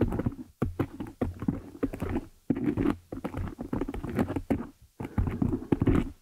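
Long nail tips tap and scratch the top of a black foam windscreen on a desktop microphone. The result is dense, muffled, bassy thumping and rustling scraping in rapid bursts, broken by brief silent gaps, with little bright content.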